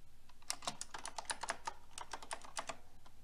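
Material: Plastic.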